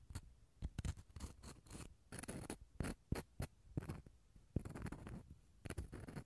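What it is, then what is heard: Dried gourd shell half scratched. The inner surface of a small hollow dried gourd half is scratched with a toothpick and fingernails. It makes a quiet run of short, dry scratching and scraping bursts with quick pauses between them. The strokes carry a hollow, low body under a faint bright rasp, and each dies away almost at once.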